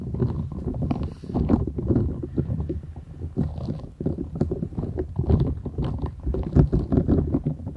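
Long acrylic nails scratch and tap the bristled surface of a flat, thin, solid purple silicone scrubber sponge with short bristles, held folded in both hands. The result is a steady stream of dense, muffled scratching and soft tapping, dull and weighted toward the low end, with quick, dry hits that barely ring.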